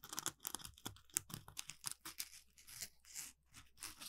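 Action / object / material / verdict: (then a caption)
scrape / polymer foam scrub sponge / polymer foam / none. An orange, palm-sized Scrub Daddy smiley-face sponge made of textured polymer foam is held in both hands and scratched with the fingertips and nails. Quiet, dry, bright rasps and crackly, tearing-like scrapes come in quick uneven bursts, then ease into longer, softer strokes. Each scratch stops dead with no ring.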